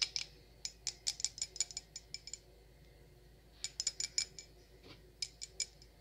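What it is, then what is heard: Wine glass tapped with nails. Long acrylic nails tap an empty, clear stemmed wine glass with a thin, hollow bowl, producing about 20 bright, high-pitched clicks that chime. The clicks come in quick clusters separated by short pauses, and each one dies away almost instantly with no lingering ring.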